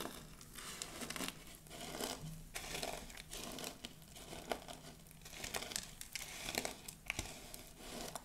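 Both hands scoop a heap of dry pink soap shavings, press the flakes flat with the palms and crush them with long blue nails. The result is a dense, bright crinkling and crunching that swells and fades in repeated waves, with sharp crackles throughout.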